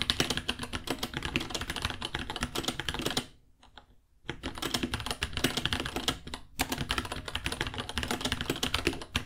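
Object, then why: Plastic mechanical keyboard. Both hands type with their fingertips on a small white 66-key mechanical keyboard with Gateron Brown switches, white plastic keycaps, a hollow case and pink underglow, resting on a white desk. Rapid, bright, clacky key taps come in dense bursts. Typing pauses for about a second near the middle and briefly again shortly after.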